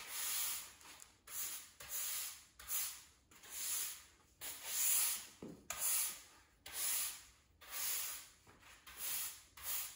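A blue plastic push broom with black bristles sweeps a bare, solid grey cement floor covered in dust and grit, moving a small pile of dirt. Nine separate strokes are heard, each a bright, hissing scrape as the bristles rub across the concrete. The strokes come about once a second at an uneven rhythm, with almost no low end.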